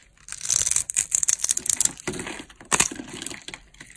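A green, dry solid soap bar, pre-scored into small cubes and held in the hand, has its cubes scraped off by a metal blade. The result is a run of dense, bright crunching and crackling, heavy in the high range with almost no low end. There is a brief pause near the middle, then a sharp burst of crunching resumes.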